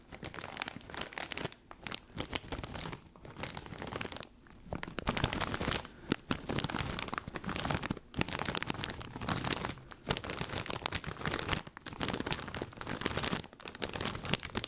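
A large XXL foil-plastic snack bag full of puffed corn rings is held in both hands in front of a mic and squeezed and crinkled with the fingers. Dense, bright crinkling and crunching comes in bursts of a second or two, separated by brief near-silent gaps, across the whole clip.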